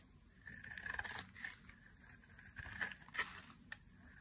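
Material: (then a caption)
Soap. A dry, hand-sized solid white soap bar held in the hand is shaved into thin curls with a metal blade. Crisp, dry scraping strokes come in uneven bursts, with a bright, gritty edge and a faint tone around 1.7 kHz.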